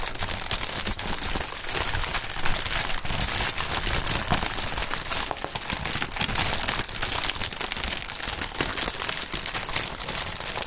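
A gloved hand grips, squeezes and crumples an air-filled, clear plastic inflatable packaging column with green print against a mat. It makes a steady, dense crinkling with bright crackle and soft low thumps throughout.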